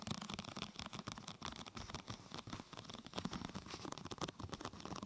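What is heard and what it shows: Long painted nails and fingertips tap and scratch the top of a large, thin, flexible, translucent purple plastic protector sheet curved like a hollow tunnel over a binaural microphone. It makes a quiet, continuous stream of quick crinkly taps and scratchy rustles, with soft hollow low thumps under a bright, papery hiss.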